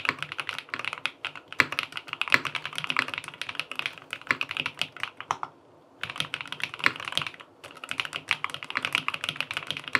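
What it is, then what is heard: Aluminum mechanical keyboard with plastic keycaps. Fingertips type continuously on a QK80 tenkeyless mechanical keyboard with an aluminum case, cream and peach plastic keycaps and linear switches, resting on a desk. The rapid, crisp key taps have a bright clacky tone with almost no low end, pausing briefly just before the six-second mark and again around 7.5 seconds before the typing resumes.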